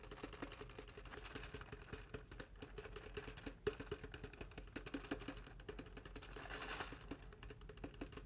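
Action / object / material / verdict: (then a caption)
tap / styrofoam cup with water / styrofoam / none. Fingertips tap quickly and continuously on the side of a large styrofoam cup with a blue printed band and a straw, holding water and held in both hands. The result is a dense patter of soft, dry, hollow ticks with a faint mid-pitched tone and almost no ring. A brief brighter rustle rises near the end.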